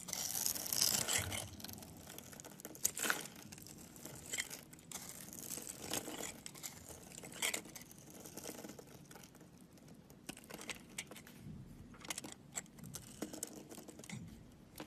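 A solid green rectangular bar of soap, held in the hand, is scraped and cut with a utility knife into thin slivers. The result is a steady stream of soft, bright crinkling and scraping strokes that are quiet overall and mostly high-pitched. The sharpest, loudest passage comes in the first second and a half.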